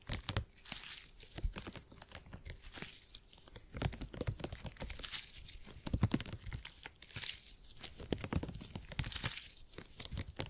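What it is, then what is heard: Gel grid cushion being squeezed. A purple, stretchy gel grid cushion made of hyper-elastic polymer is squeezed, folded and pinched with fingertips. It makes dense, sticky crackling and tearing-like crinkles, with bright snaps over soft low thumps. The sound comes in repeated waves as the grid is worked.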